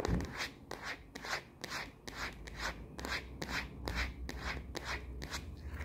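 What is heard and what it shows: Long nails scratch quickly across the matte back of a smartphone in a plastic case, tilted to show its red side buttons. Rapid, uneven rasping strokes, about two per second, each a short bright scrape with no ring, sit over a steady low rumble.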